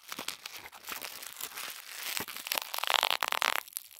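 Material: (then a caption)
Tissue paper. A small crumpled ball of thin white tissue paper is held in both hands while fingertips pinch, crinkle and rub its surface. Dry, bright crackling and rustling, with almost no low end, comes in quick bursts that grow denser and louder toward the end before dropping off.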